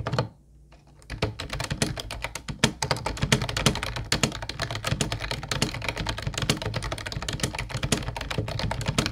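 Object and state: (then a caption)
Plastic keyboard being typed on. Fingertips of both hands type on a mint-blue plastic Ubotie retro keyboard with round white keycaps. After about a second of near silence, a rapid, continuous stream of short, clacky key taps begins, each with a low thump and a bright click that stops almost at once.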